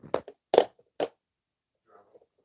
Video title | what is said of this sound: Unboxing My Brother Persona PRS100 Embroidery Machine | Sounds drummy.